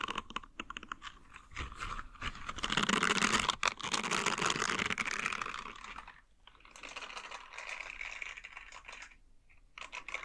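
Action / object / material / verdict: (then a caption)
scrape / silicone nub scrubber / silicone / none. A green silicone nub scrubber, held close toward the camera, is scratched with nails and fingertips, giving a dense, bright, crackly scratching with rapid irregular ticks. The scratching is loudest in the middle stretch, then turns softer and thinner with brief pauses before resuming near the end.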